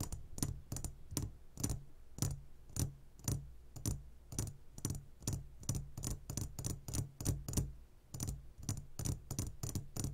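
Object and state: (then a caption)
Glass candy jar full of gummies. Fingertips tap rapidly on the sides of a clear glass jar full of gummy candies, producing a run of about thirty short, dry taps in uneven bursts. Each tap pairs a soft low thud with a bright click that dies away almost at once.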